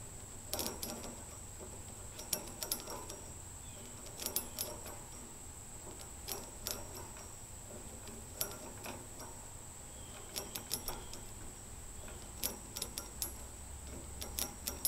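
Fingertips and long fingernails flick and rattle the heads of many long steel nails standing in a container, giving scattered bursts of bright metallic clicks and clinks that die away almost instantly. A faint steady high whine and a low rumble sit underneath the quiet tapping.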